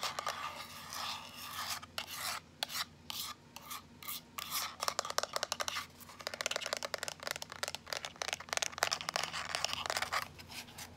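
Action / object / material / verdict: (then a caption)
scrape / small plastic power bank / plastic / none. A small, solid, hand-sized teal plastic power bank with a rounded shape is tapped and scratched with long nails close up. Dense, rapid clicks and rasping scratches alternate, bright and dry with almost no ring, over a faint low hum.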